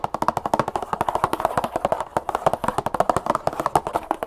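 A medium cardboard box of brown cane sugar, apparently full, is held in both hands and tapped and scratched with long acrylic nails. About 35 fast, dry taps land in quick succession, each with a short hollow knock centered around 820 Hz, very little low end and almost no ring.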